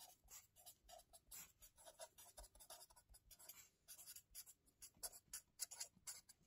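A white marker pen writes continuously on a lined paper spiral notebook lying on a table, close up. Its tip rubs and scratches across the page in a quick series of short, bright strokes with very little low end.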